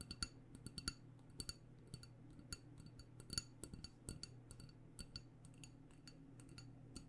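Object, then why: Wax-filled glass candle jar. A black glass jar candle with a paper label, filled with wax, is held in one hand and tapped with long painted nails. The result is a quick, irregular run of soft, sharp clicks with a bright, glassy ring that dies away almost at once, over a faint low hum.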